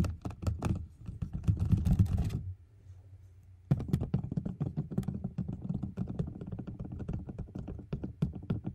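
Fingers and nails tap rapidly at the edges and surface of a medium, closed white cardboard gift box, likely hollow, held up in the air. The taps are dull, low, thunky knocks in quick flurries, with a brief quiet pause before the tapping resumes.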